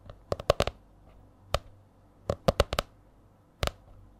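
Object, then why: Laminated hardcover spiral notebook. Long nails tap on the stiff laminated cover of a purple A4-size spiral notebook held in front of the mic. Short, dry, clicky taps come in uneven clusters with quiet gaps between them, each with a mid-pitched knock and a crisp bright edge that stops almost instantly.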